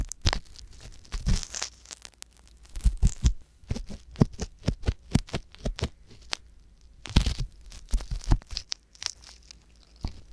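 A wooden ear pick scratches inside the canal of a soft silicone ear on a white box binaural microphone. It makes a steady run of short, dry scraping and crackling strokes that sound close and muffled, with most of the energy low and brief bright rasps. The strokes come in clusters with quiet gaps between them.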